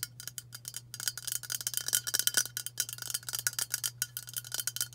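Long matte burgundy nails tap fast on a hand-sized, hollow White Dove aluminium spray deodorant can held in both hands. The result is a rapid stream of bright, metallic clicks that die away almost instantly, with a tinny ring near 3.1 kHz. A faint steady low hum sits underneath.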